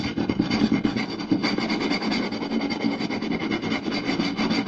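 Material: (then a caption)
Wood. Two hands rapidly scratch and tap the surface of a round, solid wooden plate with a rim groove, using fingertips and short nails. The result is a fast, continuous, dry raspy scratching with quick flurries of light taps, steady in loudness throughout, with a low-mid woody body and bright scratchy overtones.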